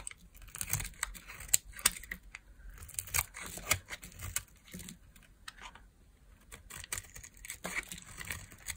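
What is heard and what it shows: A solid beige oval bar of dry soap is held in one hand with long nails and shaved with a metal blade into long curls. Bright, dry scraping and crisp crumbly tearing come in a quick series of short strokes, with sharp cuts standing out over a soft crinkle, and no ringing after.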